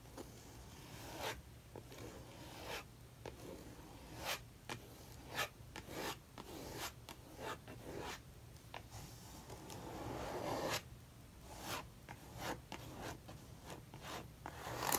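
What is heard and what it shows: A metal palette knife with a wooden handle drags thick maroon acrylic paint across a paper sketchbook page in firm strokes. Repeated scraping and rubbing strokes rise over a low, steady hum, each ending in a brief bright scratch.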